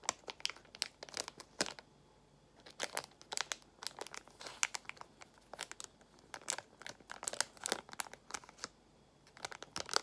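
Long acrylic nails squeeze and crinkle a small, flat, sealed frosted plastic packet with a printed label, held in both hands. Bright, crisp crinkles come in quick bursts, separated by brief quiet pauses.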